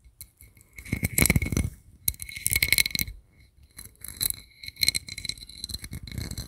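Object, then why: Small metal compact mirror. A small, round, hollow gold-toned metal compact mirror with an embossed sunburst lid is held in both hands close to the mic and tapped and scratched with fingertips and nails. Bursts of quick, crisp tapping and scraping bring out a bright metallic tone around 2.2 kHz with high shimmer. Each tap dies away almost at once, with short quiet pauses between the flurries.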